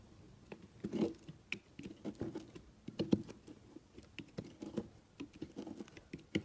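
A utility knife blade cuts thin flakes from a solid, partly shredded, cream-colored soap block. It makes a quick, irregular run of soft, crisp crunches and scrapes, each short and dry with almost no ring. The sound sits mostly in the low-mid range with brief bright edges.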